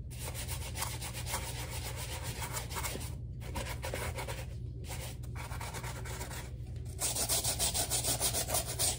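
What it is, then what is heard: Rubber slide sandal. A black rubber slide sandal's lathered footbed is scrubbed with a wooden-handled bristle brush while the sandal is held in the other hand. Steady, rhythmic bristly rubbing strokes continue over a low constant hum, with brief pauses along the way. In the last two seconds, the strokes turn louder, brighter and more distinctly pulsed.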